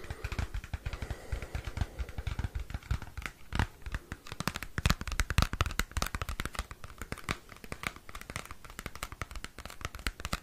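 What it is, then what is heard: Cardboard CD sleeve. Fingernails scratch and tap a small square cardboard CD album sleeve. Quick, dry taps with soft thumps come in a dense stream, mixed with bright scratchy rasps across the card. Each tap cuts off almost at once.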